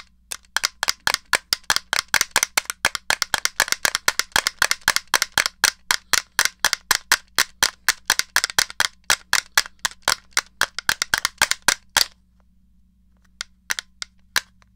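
A small hollow grey plastic NES controller has its buttons pressed and its case tapped with fingertips and nails. The result is a fast, uneven run of sharp, bright plastic clicks and taps lasting about twelve seconds, over a faint low hum. After a short pause, a few more scattered taps follow.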